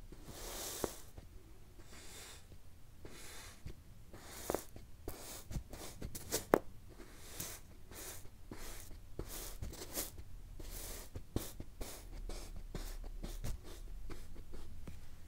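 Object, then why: Kinetic sand slab. A metal-handled tool with a waffle-textured end is pressed and stamped repeatedly into a flat, solid, pre-cut slab of teal kinetic sand resting on a pink cloth, crunching the sand cubes. Soft, gritty crunches and brief bright ticks come over a quiet, low-heavy background, each one dying away almost at once.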